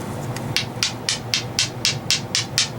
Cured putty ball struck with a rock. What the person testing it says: you can hear it's a little bit softer. A little bit softer than the rock. But that is some hard stuff.